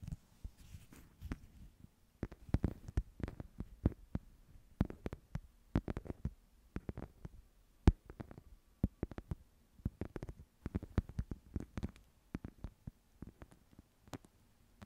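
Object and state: Woven wicker box.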